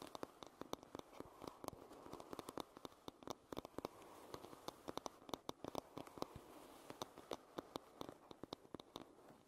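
Long nails tap and scratch across the solid wooden back of a hairbrush. Dozens of quick, dry, sharp clicks land irregularly over a soft, continuous scratching hiss centred in the low-mids. Each tap dies away almost instantly.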